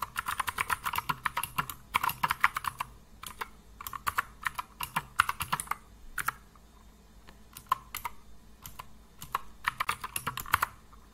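A compact mechanical computer keyboard with blue and grey plastic keycaps, resting on a wooden desk, is typed on with the fingertips of both hands. Dozens of crisp, dry plastic key clacks come in quick bursts separated by short pauses, with their energy centered around 1 to 2 kHz and a bright top. Each tap stops sharply with no ring.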